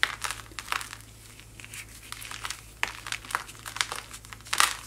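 A small, solid white chalky powder block is held in one hand and crushed and crumbled by fingertips with long white-painted nails, and fine powder falls from the hand. Dry, bright crinkling and crunching crackles come in irregular bursts, with sharper crisp snaps standing out. A faint steady low hum sits underneath.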